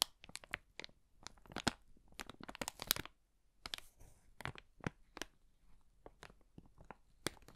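An empty, thin, hollow brown kraft paper bag is gripped by its top edge and crumpled in a fist. It makes a quick, irregular run of sharp, dry crinkles and crackles. The sound is bright and papery with little low end, and each crackle stops almost instantly, with brief quiet gaps between bursts.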